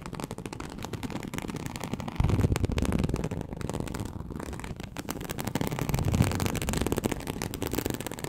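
Very long acrylic nails scratch across a large, flat, teal snakeskin-embossed leather sheet (likely faux) lying on a surface. The result is a dense, continuous, low-heavy rasping crackle made of rapid tiny scrapes, with louder, rougher stretches from about 2.2 to 3 seconds and again around 6 seconds.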